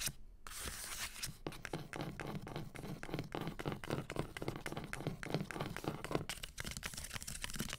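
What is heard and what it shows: Long green nails scratch along the spines of a solid stack of hardcover books with paper dust jackets. After a brief near-silent start, a dense run of fast, dry, papery scratching strokes follows, bright and rasping with a low hum underneath.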